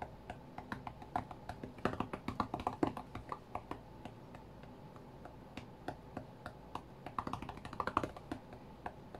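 Fingertips of both hands tap rapidly on the glass touchscreen of a flat white iPad during a rhythm game. The result is a fast, uneven run of short, dry clicks with no ring, clustered in bursts with brief pauses. The taps sit over a faint low background hum.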